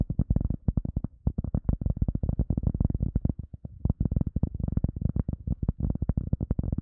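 An EVA foam sponge is tapped in a fast, steady run of about thirty-three soft, dull thumps with one brief pause near the middle. Each tap is deep and muffled, centered low around 78 Hz with almost no high content, and stops dead with no ring.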